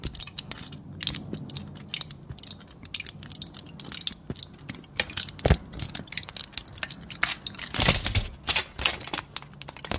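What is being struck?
Thin aluminium foil sheet.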